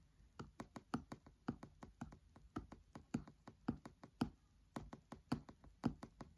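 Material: Paper.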